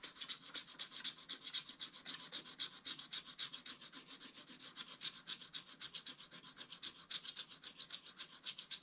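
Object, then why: Black-coated scratch art paper card. Fingertips rub the remaining black coating off the background of a flat black-coated scratch art card, with loose crumbs on the card. A quiet, rapid run of short, dry, bright rubbing strokes comes at roughly four per second. It has almost no low end.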